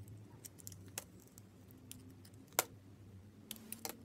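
A utility knife blade scrapes and carves a small, solid, rectangular red soap bar with an embossed logo and a white inside, held in a hand with long red nails, peeling off shavings. About nine quiet, short, bright scrapes and clicks sound over a faint low hum, with the sharpest cut about midway through.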